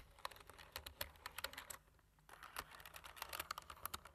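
Fingertips press the keys of a black plastic computer keyboard, giving quick, bright, dry clicks in continuous typing bursts. A brief pause comes around the middle before the tapping resumes.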